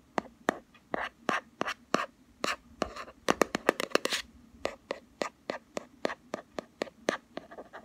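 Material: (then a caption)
Plastic. Fingernails quickly tap and scratch the green-labeled lid of a palm-sized, round plastic Body Shop Hemp body butter jar with a black rim, held in the other hand. About 27 short, dry, clicky taps come in a fast, uneven run, bunching into a denser flurry near the middle, with faint scratchy rasps between them.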